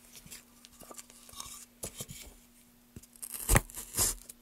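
Gloved hands carve lengthwise along a solid pale wood block with a wooden-handled gouge. The clip is a series of irregular, dry scraping and tearing strokes with bright, crisp edges, the strongest two near the end, over a faint steady low hum. Each stroke stops short with almost no ring.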